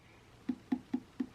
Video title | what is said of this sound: EBMX X-9000 Ver.2 VS KO Moto Factory Spec At a Glance Comparisons | I thought this was metal but it's plastic but it's so much more dense